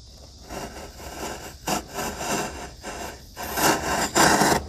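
A solid, light-coloured, hand-sized wooden block with its end grain visible rests on a workbench among shavings while a steel chisel held in the fingers is pressed and pared down its edge. Repeated dry cutting and scraping strokes rasp across a broad range, growing louder and brighter toward the end, with the last two strokes the strongest.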